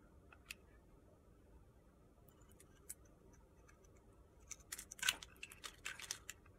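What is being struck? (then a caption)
Bar of soap cut with a blade. A utility-knife blade shaves thin curls off a solid pale pink soap bar held in the hand, scraping the soap. Quiet, bright, crisp scrapes and clicks come sparsely at first, then crowd together in a denser burst of crunchy shaving toward the end over a faint low hiss.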